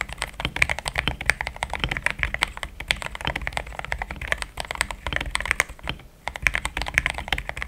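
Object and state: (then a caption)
Plastic mechanical keyboard. Fingertips of both hands type steadily on a compact pink-and-cream plastic mechanical keyboard with thick XDA-profile keycaps, Gateron Yellow switches and a polycarbonate plate, resting on a desk mat. A fast, continuous stream of short, crisp keystrokes sounds bright, centered around 2 kHz, with a soft low thud under each press. The typing pauses briefly near the six-second mark.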